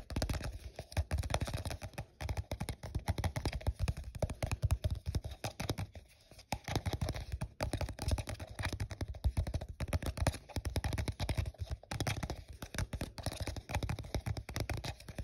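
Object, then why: Thin plastic cup. Fingertips and short nails quickly tap and scratch the side of an empty, hollow, translucent printed plastic cup held in the hand. The result is a dense, continuous stream of dry, hollow taps with a dull low thump and light scratchy texture, each hit dying away almost instantly. The tapping pauses briefly around the six-second mark before resuming.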